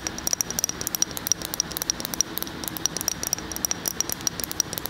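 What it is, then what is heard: Glass jar of spread. Fingernails rapidly tap a medium glass jar filled with a tan, peanut-butter-like spread while it is held tilted. The taps make a quick, irregular run of sharp, bright clicks, each with a brief high glassy ping that dies away almost at once over a faint steady hiss.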